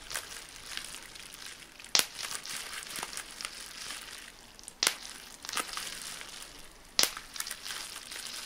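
A crumpled sheet of clear plastic bubble wrap is handled, with small air bubbles pinched between thumb and fingertips. Steady bright plastic crinkling runs throughout, broken by three sharp, loud pops and a few fainter snaps.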